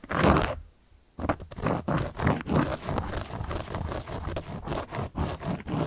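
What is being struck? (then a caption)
Cork board. A carving tool scratches across a large, round, solid cork board. A loud opening scrape is followed by a brief silence, then a long run of quick, rough, crunchy scratching strokes with a gritty, low-weighted texture.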